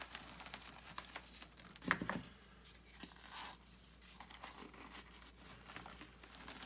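Bare hands crumble pieces of gym chalk (magnesium carbonate), letting the powder fall back into a white bucket, then press into the powder bed, crushing and rubbing it. The result is a quiet, dry, crumbly crunching with fine gritty rustles across the clip and a louder crunch around two seconds in. Each sound is a short, bright, crisp crackle that fades almost instantly.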